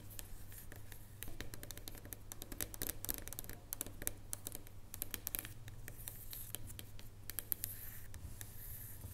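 Long nails tap quickly and steadily on top of a solid dark chocolate bar lying on a wooden table. The result is a dense run of sharp, dry, bright clicks with almost no ring, over a low steady hum.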